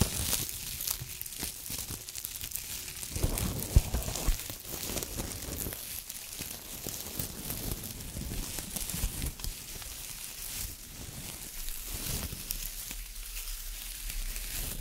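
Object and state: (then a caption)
Metallized plastic tinsel garland crinkling. A green-silver metallized plastic foil tinsel garland, light and airy, is held in both hands and squeezed, rubbed and bunched up with the fingertips. The result is a steady, dense crinkling and rustling that swells and eases, with brief louder crunches.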